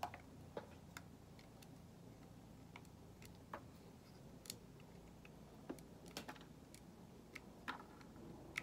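A solid white bar of soap held in the hand is shaved with a metal utility knife blade, and the shavings pile up on a table. Short, crisp, bright scraping clicks come at irregular intervals over a quiet, steady low background hiss. Each click dies away almost instantly.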